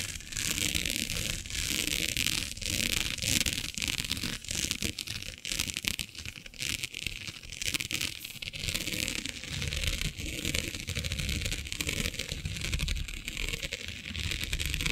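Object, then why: Plastic mesh sheet. Fingernails scratch across the grid of a flat, black, iridescent plastic diamond mesh sheet. The result is a steady, dense run of bright, crackling scrapes and crinkles over a low rumble, with quick dips between strokes.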